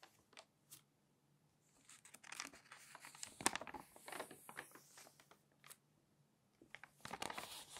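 Fingers turn the crinkly coated pages of an open glossy paper magazine. Soft, bright crinkling and papery swishes come in short bursts, quiet at the start and building into denser rustling through the middle and again near the end, with brief silences between turns.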